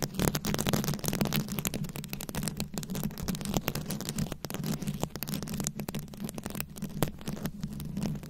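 Long nails scratch and tap across the rhinestone beads covering a round microphone head, producing a dense, continuous stream of sharp clicks and crackly scraping that reaches bright highs. A steady low hum sits beneath the scratching throughout.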